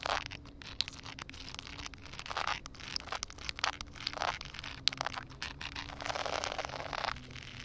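Long painted acrylic nails tap and scratch a flat, solid concrete slab outdoors that is covered by a thin layer of water. Many quick, sharp clicks mix with bright, wet scraping swishes over a faint, steady low tone.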